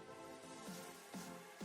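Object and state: Nothing is struck.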